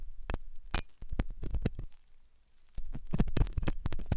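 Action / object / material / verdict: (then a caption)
scrape / silicone ear model with metal pick / silicone / none. A metal dental pick scrapes inside the hollow ear canal of a white, soft silicone ear on a binaural microphone. Close, muffled scratching and thumping sounds dominate the low end, broken by brief, bright metallic clicks. A quiet pause follows before denser scraping resumes.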